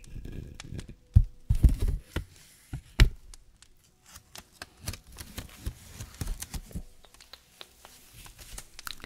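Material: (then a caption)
Paper. A small decorative paper Christmas tree made of stacked paper layers, set in a small pot, is held in one hand while fingertips and nails scratch and rub across the layers. Dry papery rustling and crinkling alternate with short sharp clicks and scrapes, louder and denser in the first three seconds, then lighter and scattered.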